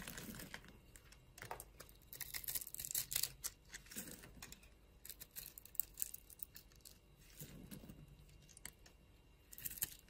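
A utility knife blade scrapes thin flakes off a solid, palm-sized white bar soap held in the palm, with long glitter nails on the hand. It makes quiet, dry, crinkly scraping strokes in uneven bursts, bright and hissy with short crisp ticks and a soft low rumble beneath some strokes.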